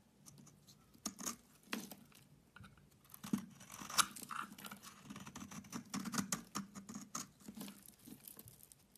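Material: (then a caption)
Soap. A metal utility knife scrapes chunks and shavings off a solid bar of soap held in hand, green-coated on the outside with a yellow interior. The scraping comes as a dense run of short, dry crunches and scratches with bright, crisp edges, until the bar is worn down to a small piece.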